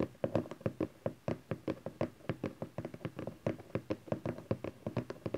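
Fingertips and nails tap rapidly on the top face of a small hollow cardboard camcorder box resting on satin fabric. About thirty short, dry, hollow knocks sit low and mid-pitched around 240 Hz, each dying away almost at once.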